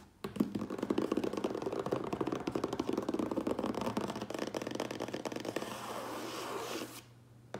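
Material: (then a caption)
Cardboard. A closed cardboard Priority Mail box standing on end is tapped quickly on its top with the fingertips and nails of both hands. The result is a dense, continuous patter of dry, hollow taps with crisp nail clicks that runs for about seven seconds, then stops abruptly, leaving only a faint low hum.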